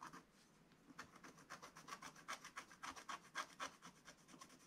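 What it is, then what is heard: Scratch-art paper being scratched. A wooden stylus scratches and rubs the black coating of a scratch-art card page in a spiral book. After a soft, hissy start, quick dry strokes repeat about four times a second with a bright, rasping edge. The strokes are short and quiet, cutting off with no ring.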